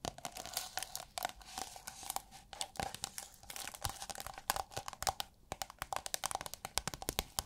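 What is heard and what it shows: Long nails tap, scratch and squeeze a rolled tube of thin, iridescent holographic plastic film, giving a rapid run of dozens of crisp, bright crinkling clicks and tearing-like rustles. Each tap is sharp and dies away almost at once, with little low-end weight and a faint steady tone beneath the crackle.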